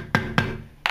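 A screwdriver wedged under the base of a ceramic toilet bowl set in cement is struck three times with a hammer, giving short, deep, hollow knocks with a low body. The hollow sound shows the bowl base is already detached, and the bowl moves and is pulled out after a few shakes.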